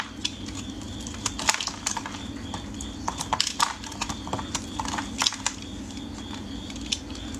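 A metal craft blade scrapes, shaves and cuts into a solid, palm-sized green bar of soap held in fingers wearing cut-resistant finger guards. Dry, crunchy scratching strokes come through as quick, bright clicks and crackles over a steady low background hum.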